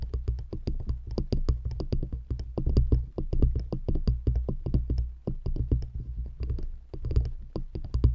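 Long nails tap quickly on two stacked solid wooden rings placed around a microphone, striking from both sides. The steady, uneven patter of taps sounds deep and muffled, with a strong low thump around 59 Hz, faint bright clicks on top, and each tap dying away almost at once.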